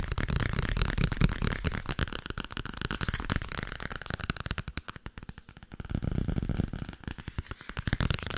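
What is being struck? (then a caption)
Paperback book with paper cover. Long nails rapidly tap and scratch a solid paperback book with a paper cover, making a dense stream of short, dry, dull clicks heavy in the low end with a light bright crackle on top. The tapping thins into sparser, softer taps around the middle before picking back up to a fast patter toward the end.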